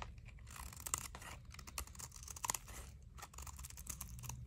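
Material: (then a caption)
Soap. A thinner solid blue dry soap bar, held in the palm, is scraped by a utility knife blade that shaves crunchy flakes off its surface. Steady dry scraping comes through as dense, bright crunching with sharp crackly peaks and a low background rumble.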